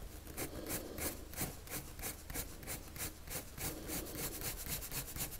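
The tip of a wood-cased colored pencil, held in the fingers, rubs and scratches across a thin white paper sheet lying flat on a table in dense, rapid drawing strokes. Each stroke makes a bright, dry scratching hiss over a soft low rumble. The strokes come in a quick, uneven back-and-forth rhythm.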